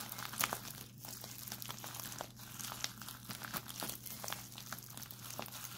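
A white printed plastic instant cold pack is twisted and held up in both hands while its crinkly plastic film is crumpled and squeezed. It makes a continuous run of bright, sharp crinkles and crackles with a faint steady low hum underneath.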